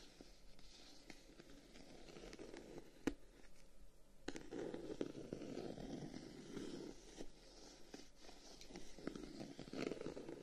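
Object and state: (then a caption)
Closed wooden folding fan, scratched and tapped. A closed folding fan with a dark wooden guard is held in the hand while the thumb and short-nailed fingertips scratch and tap the wooden guard. Quiet, dry scratching rasps sit mostly in the low-mids, broken by sharp, short wooden taps and clicks that die away almost instantly.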